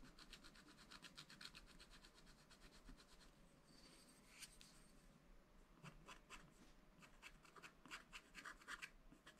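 A wooden stylus scratches the coating of a black scratch-art paper sheet on a pad, making quiet, rapid, bright rasping strokes in a steady rhythm. A faint steady hum runs underneath the dry scratching throughout.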